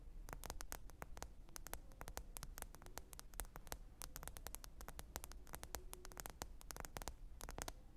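Long pointed nails tap rapidly on the glass screen of a small, thin black smartphone lying flat, screen up, on faux fur. The result is a dense, irregular patter of sharp, bright clicks with almost no ring, over a steady low hum and faint hiss.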